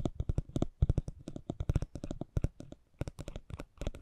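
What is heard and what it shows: A metal spiked pinwheel (Wartenberg wheel) is rolled across a small, thin cardboard racing trading card held in the fingers. It makes a rapid run of short, dry clicks and scratches with a soft, low thump under each tick and a faint bright edge on top.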